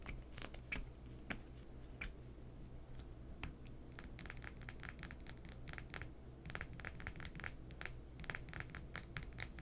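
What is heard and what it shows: A small, hollow, peach-coloured plastic liquid lipstick tube with a black cap is held in both hands and tapped and scratched with long painted fingernails. The result is a quiet stream of short, sharp, bright clicks and scratchy ticks that grow busier toward the end, over a steady low hum.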